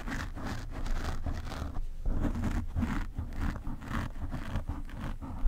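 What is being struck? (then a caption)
Foam microphone windscreen. Fingernails of one hand scratch the black foam windscreen on a desk microphone. Steady, scratchy rustling comes in quick repeated strokes with a heavy low rumble underneath. It runs continuously with small swells and no pauses.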